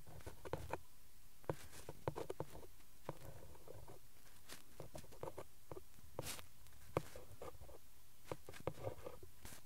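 A ballpoint pen tip traces and taps across the printed cardboard backing card of a glue stick blister pack lying flat on cloth. It makes quiet, irregular dull taps and brief scratchy strokes that die away almost instantly, spread unevenly across the clip over a soft low background.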